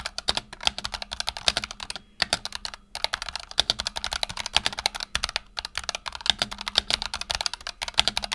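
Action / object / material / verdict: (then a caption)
tap / mechanical keyboard with PBT plastic keycaps / plastic / none. Fingertips of both hands rapidly type on a black tenkeyless Razer Huntsman Tournament Edition mechanical keyboard with PBT plastic keycaps and optical switches, resting on a desk mat. A dense stream of short, bright, crisp key clacks follows with brief pauses, each click dying away almost instantly, and there is very little low end.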